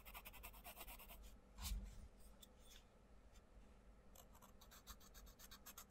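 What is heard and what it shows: A wooden coloured pencil scratches and rubs across the paper page of an open paperback colouring book on a table while colouring butterflies. Rapid, bright, raspy strokes fill the start and end, with a quieter stretch between and one brief, louder low bump near the middle.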